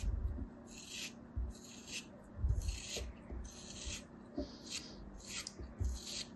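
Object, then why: Kinetic sand block scraped with a metal blade. A thin metal craft knife blade shaves and scrapes the edges of a small solid block of molded beige kinetic sand held in the fingers. The result is a series of repeated dry, gritty rasping strokes with bright, hissy texture over a faint low rumble.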